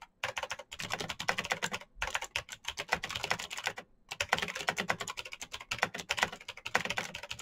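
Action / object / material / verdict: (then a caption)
tap / plastic mechanical keyboard / plastic / none. Fingertips of both hands type fast on the keycaps of a black plastic full-size Razer BlackWidow mechanical keyboard with clicky green switches, an RGB backlight and a hollow case resting on a desk mat. A rapid, continuous stream of sharp, bright clicks is heard, with brief pauses near 2 and 4 seconds. Each keystroke dies away almost instantly.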